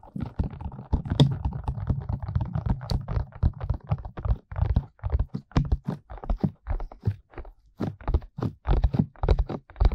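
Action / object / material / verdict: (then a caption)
tap / silicone ear mold of a binaural microphone / silicone / none. Both hands hold the soft silicone ear molds of a 3Dio binaural microphone with a black box body, while fingertips with medium-length painted nails tap and rub them. The result is a quick, irregular series of short, muffled low thumps with very little brightness, mixed with soft rubbing scuffs. The first few seconds are denser and more continuous before the taps become more spaced out.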